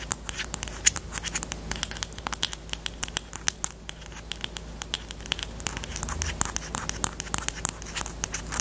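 Long nails rapidly scratch and tap the plastic barrel of a pastel pink highlighter with a black cap, held horizontally. Dense bright clicks and scratchy patter sound over a steady low hum. Each tap is crisp and dies out almost instantly.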